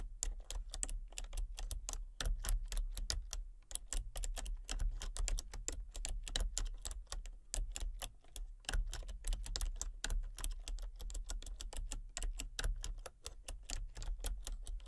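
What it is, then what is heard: Plastic computer keyboard being typed on. Fingertips and painted nails type rapidly on a full-size plastic computer keyboard with a colour-changing backlight, producing a steady stream of sharp, bright clicks and taps. A continuous low hum sits underneath the quick, closely spaced keystrokes for the whole clip.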